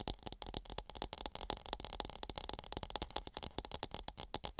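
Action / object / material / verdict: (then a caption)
tap / plastic mini football helmet / plastic / none. A small hollow Patriots-branded plastic mini football helmet with a red face mask is held in both hands near the microphone and tapped and scratched across its shell with fingertips and nails. The result is a rapid, steady run of dry, bright clicks and scratchy rattles that stop instantly with no ring, over a faint low rumble.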